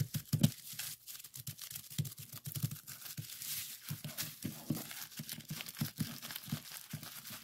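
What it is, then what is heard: Plastic bubble wrap being popped. A clear plastic bubble wrap sheet with hollow bubbles is pressed, folded and twisted by hand to pop the bubbles. It makes a dense, continuous run of sharp pops and crinkling crackles over soft low thumps, each snap bright and very short with almost no ring.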